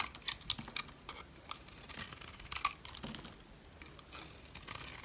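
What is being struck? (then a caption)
Soap bar scraped by a metal blade. A metal blade chips and scrapes flakes off a solid yellow rectangular bar of dry soap held in a hand with red nails. Crisp, bright scraping and crackling comes in quick bursts of sharp ticks, with almost no low end. The sharp bursts cluster early and midway before easing into softer, steady scraping.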